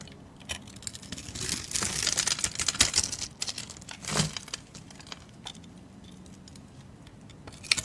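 A solid speckled white bar soap, held in the hand, is shaved and cut with a blade, making bright, crisp scraping and crackling sounds. The shaving is densest in the first half, with a short burst of cutting, then it thins to faint ticks and a sharp click at the end.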